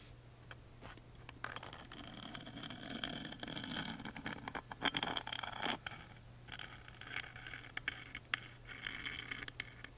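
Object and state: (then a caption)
Engraved wooden music box lid scratched. A wooden toothpick scratches and traces the engraved grooves of the small laser-engraved wooden lid, with a dinosaur relief, of a tiny music box held open on its thin wooden panel. Dry, bright scraping and scratching come through with short sharp ticks scattered throughout, over a steady low hum.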